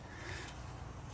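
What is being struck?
Nothing is struck.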